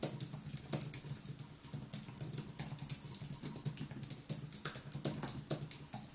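Fingertips type continuously on the white plastic keys of a thin aluminium wireless keyboard. The result is a steady, dense patter of soft, quick-decaying key clicks, each with a bright tick over a low, muted thump.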